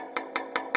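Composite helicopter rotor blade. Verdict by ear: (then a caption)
Delaminated. Four taps along a $55,000 composite helicopter rotor blade give short, sharp knocks with little ring. Over a delaminated region, where a layer has lifted and left an air gap, the taps sound dull instead of crisp and high-pitched, marking hidden damage in the blade.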